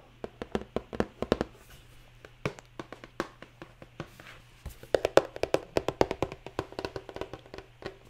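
A medium-size, hollow, printed cardboard retail box holding LED lights is held in the hand and tapped with long nails, producing 38 quick, dry, hollow taps with a mid-pitched knock that dies away almost instantly. The taps come in uneven bursts, growing denser and louder in the second half, while soft rain is heard in the background.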